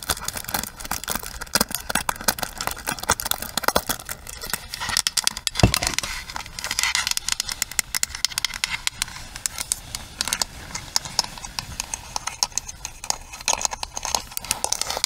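Long nails tap quickly across the bristle pins of a pink plastic paddle hairbrush, then move to its smooth, hollow plastic back and handle. The result is a steady stream of dry, bright clicks and light rattling scrapes, each tap very short.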